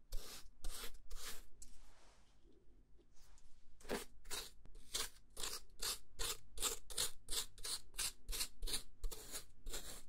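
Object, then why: Plastic food container with lid. A square translucent plastic box with a lid, holding beige contents and held in one hand, has its lid scratched and rubbed with a thin dark tool. A few bright, raspy scratching strokes give way to quieter, softer rubbing, then a steady, quick run of short, sharp scratches with a faint low hum underneath.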